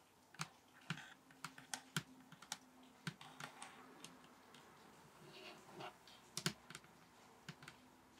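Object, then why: Table top. Fingers tap on a table top in an irregular run of about twenty short, dry taps with mostly bassy thumps. Each tap has a low body around 160 Hz and a bright clicky edge, and dies away almost at once over a quiet, steady background.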